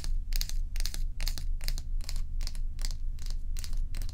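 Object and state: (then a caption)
Ice block scratched with nails. Long acrylic nails scratch and tap the rim and underside edge of a large solid ice block lying on its side on a dark towel. Bright, crisp scratching bursts repeat roughly twice a second in an irregular rhythm, with short taps inside them. A steady low hum runs underneath the whole time.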